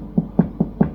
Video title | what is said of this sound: Baking Traditional Irish Soda Bread with My Granny using her Family Recipe - Super Simple | give it a knock underneath and then it sounds hollow and that's how you know it was done